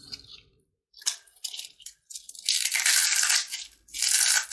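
A small, hollow, dry yellow fried papad cone is held in one hand and squeezed with the fingertips, crushing it into crispy fragments over a dark tray of snacks. Short, bright crackles give way to longer bursts of dense, high crunching as the shell breaks apart, with almost no low end.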